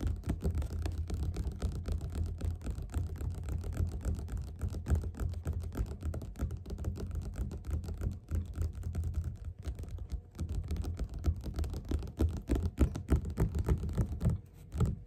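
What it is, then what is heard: Paperback book. Both hands tap fast with their fingerpads on the cover of a closed, solid yellow glossy paperback of Othello lying flat on a table. The result is a steady, slightly uneven stream of soft, dull thumps, low and muffled with almost no ring, continuing for the whole clip.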